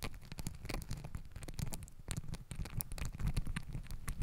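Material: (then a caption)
Fabric. Long nails and fingertips scratch and rub pink and green glittery fabric hair ties stacked around a microphone body. The result is a steady, dense scratchy patter, dominated by a deep, close rumble with faint bright crackles on top. It grows slightly louder in the second half.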